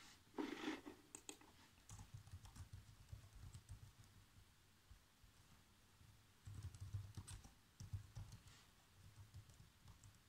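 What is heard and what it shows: Fingertips with short nails type fast across the keys of a black plastic chiclet laptop keyboard. Soft, low, muffled taps come in quick bursts, with a louder clicky flurry at the start and another busy run near the middle, separated by quieter stretches of lighter tapping.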